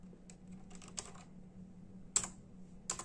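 Bare fingertips of both hands tap slowly on a full-size black and silver plastic membrane keyboard with hollow keys. The result is irregular, bright, hollow clicks, each dying away almost instantly. A faint steady low hum runs underneath.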